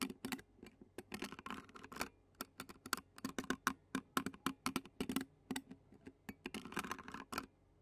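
Clear plastic fork tines scratch the black metal mesh microphone grille of a handheld Zoom recorder, making a quick run of dry, sharp scrapes and ticks across about eight seconds. Each stroke is brief and bright, with a faint low hum in the background.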